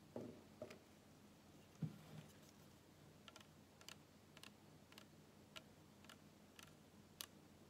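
Fingertips and nails tap and scratch the white plastic cap and sides of a small PET plastic bottle full of dark cola, which sounds hollow yet full. Quiet, irregularly spaced clicks and ticks ring briefly, some with a bright edge, and a few heavier early taps give a dull low thud.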